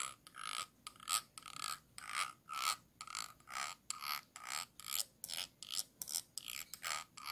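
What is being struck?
Small glass jar with a ridged base.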